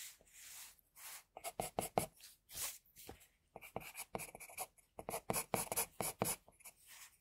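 A pencil sketches the edge of a headband on a flat white drawing sheet with quick, repeated strokes. Each stroke makes a short, dry, scratchy rasp with a bright hiss. The strokes fall in uneven bursts, some longer swishes and some quick dabs, all quiet and close with almost no ring after each one.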